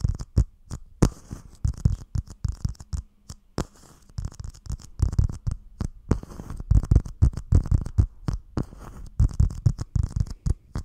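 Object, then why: Thin clear plastic dome lid. A small, hollow, empty clear plastic dome cup lid is held over the microphone with both hands and tapped and scratched with the fingertips. The result is a rapid, irregular patter of short, dull, low thumps with a faint scratchy hiss between them. Each tap dies away almost instantly.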